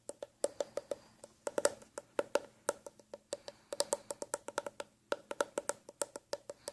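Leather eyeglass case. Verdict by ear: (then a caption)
Hollow. An empty black leather eyeglass case is tapped rapidly in irregular bursts, about 36 short, dry, hollow knocks with a woody tone centered near 570 Hz. The leather deadens the sound somewhat, but the hollow case gives each tap a brief resonance, and taps on its sides sound louder because of that hollowness.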